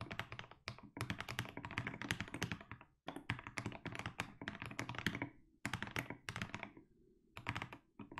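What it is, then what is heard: Mechanical keyboard with plastic keycaps. Fingertips type continuously on a compact mechanical keyboard with blue and grey SA plastic keycaps. The keystrokes sound deep and thocky, with dense, quick clacks that die away almost instantly. The typing comes in bursts, with short pauses near three, five and a half, and seven seconds.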